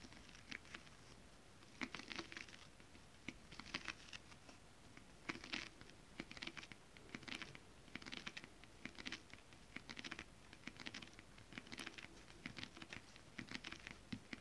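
Long acrylic nails on both hands tap rapidly on a holographic mermaid scale fabric, a flat iridescent foil scale-print stretch fabric. The result is a quiet, soft patter of crisp, bright clicking ticks in irregular bursts, with a light crinkly, scratchy texture and a faint low thump under each cluster of taps.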